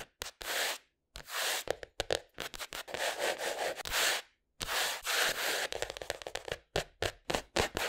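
Short painted fingernails and fingertips scratch, rub and tap the brown kraft cardboard cover of a flat spiral-bound sketchbook with a solid paper block underneath, lying on a wooden table. Dry, hissy scratching and rubbing strokes alternate with quick, crisp taps, separated by brief silences, with almost no low end.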